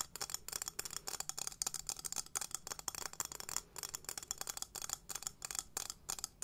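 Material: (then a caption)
Metal. A small, hollow, gold-toned textured metal cylinder container is held sideways in both hands and tapped and scratched along its surface with long nails. The result is a rapid, uneven series of crisp, bright clicks and scratchy rasps with almost no low end and virtually no ring after each tap.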